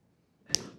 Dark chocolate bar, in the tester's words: one of the main things I'm looking for in a quality chocolate right off the bat is the snap in the chocolate